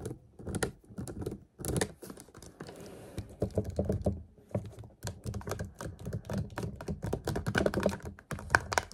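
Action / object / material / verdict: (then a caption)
tap / plastic water bottle / plastic / none. A clear plastic water bottle, held upright close by, is tapped rapidly with fingertips and nails. Quick, uneven taps give dull, low thuds mixed with light plastic clicks, each dying away almost at once. The tapping keeps on in short bursts throughout, with a brief soft rustle in between.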